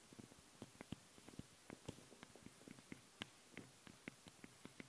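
Long fingernails on both hands tap and scratch directly on the two metal-grille microphone capsules of a Tascam handheld recorder. The result is a quiet, irregular run of sharp, dry clicks and ticks with soft low thumps, each dying away almost instantly. A faint steady hiss and a thin high tone sit underneath.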